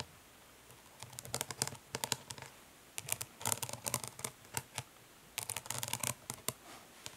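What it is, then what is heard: Plastic makeup palette. Long pink nails tap and lightly scratch the lid of an Urban Decay Naked Smoky eyeshadow palette, a flat hollow plastic case with raised lettering on the lid, lying flat on a grey cloth. Quick, bright, clicky taps come in short rapid bursts with brief pauses between them, mixed with faint scratchy rubs over a quiet background.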